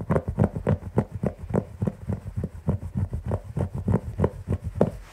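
Fingertips and short nails of both hands scratch the pile of a large beige synthetic carpet. The strokes come in a quick, steady rhythm of about three per second, each a short, dull rustling scrape with a low, soft body and little high-end brightness. The scratching runs continuously, with no voice.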